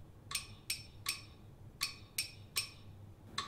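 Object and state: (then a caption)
Glass jar. A medium octagonal clear glass jar with a white plastic lid and a little water at the bottom is held in one hand and tapped on its side with a thin wooden stick. Seven separate, unevenly spaced taps sound, each a bright, high glassy clink with a short ring that fades quickly.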